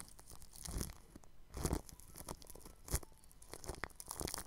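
A bristle paintbrush brushes across clear cling film stretched over a round microphone grille. It makes soft, crinkly, scratchy strokes with muffled low thuds, swelling into louder crunchy sweeps before fading back to a quiet rustle.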